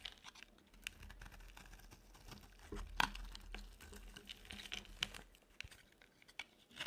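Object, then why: Soap bar scraped with a knife blade. A utility knife blade scrapes across a dry, solid pale yellow oval soap bar, making soft crunchy scraping and crinkly shaving sounds broken by sharp, bright ticks. A faint low hum runs underneath the quiet, close scraping.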